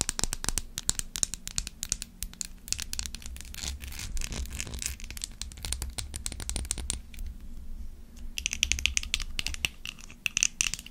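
Long acrylic nails tap and scratch a hand-sized, dark brown glass perfume bottle with a textured dotted surface and a black cap. The result is a dense stream of rapid, bright clicks and scratchy rasps, each dying away almost instantly, over a steady low rumble that lasts the whole clip.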